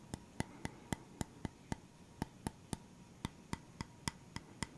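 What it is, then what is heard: Bamboo round board. A flat round bamboo wooden stand, held at its edge, is scratched and tapped with fingernails. Sixteen quiet, sharp clicks fall in an uneven rhythm over a soft scratchy hiss. Each tap has a brief woody ring and bright high overtones that die away almost at once.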